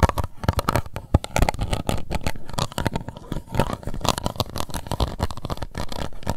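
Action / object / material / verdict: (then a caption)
scrape / thin plastic cup / plastic / none. Long white nails scratch and tap the base and sides of an empty, hollow, translucent pink plastic cup held in one hand. The result is a dense, continuous run of quick, dry taps and scrapes with a heavy low thump, short crackly bursts, and a faint steady midrange tone underneath.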